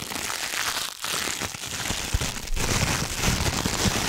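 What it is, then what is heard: Thin plastic packaging film. A thin, crumpled, hand-sized sheet of iridescent holographic plastic packaging film is held in both hands and crinkled and scrunched with the fingertips close to the microphone. It makes a dense, continuous crackling crinkle across a bright, hissy range, with a brief dip around one second. The sound grows louder and fuller from about two and a half seconds on.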